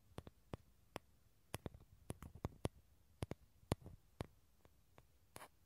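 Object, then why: Small dried gourd shell. Fingernails tap and scratch the outer surface of a small, hollow, dried gourd with a tan shell, held above the mics. About sixteen sharp, dry clicks come at an uneven pace in near silence, each dying away almost instantly. A brief, brighter scratch near the end closes the clip.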